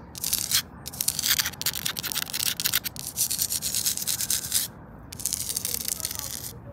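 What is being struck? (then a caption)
Concrete paving stone scratched with fingernails. Long acrylic nails scratch and rub across the rough surface of a flat grey, pitted porous concrete paving stone lying on the ground. Bright, hissy scraping comes in bursts separated by short pauses, with almost no low-end weight.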